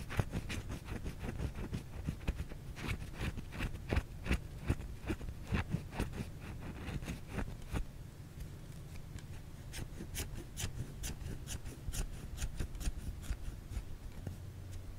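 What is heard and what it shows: A solid white bar of soap is held in the hands and scratched across its surface with the fingernails. It makes quick, dry scratching ticks in an irregular rhythm over a steady low hum. Each scratch is short and does not ring on.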